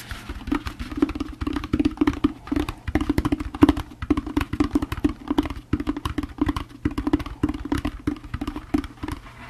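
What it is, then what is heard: Plastic jack-o'-lantern candy bucket. A hollow orange plastic jack-o'-lantern candy bucket is turned upside down, and its bottom is tapped with the fingertips. The quick, irregular taps give a hollow, low-mid plastic knock that dies away almost at once. The tapping continues steadily for the whole clip.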